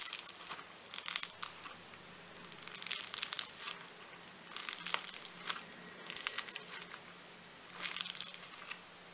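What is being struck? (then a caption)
Foam-bead clay lump. A hand-sized solid lump of light blue floam foam-bead clay is pressed and kneaded with gold-painted fingertips. It gives off bursts of bright, sizzling crackles and crinkles with quiet pauses between squeezes, over a faint low hum.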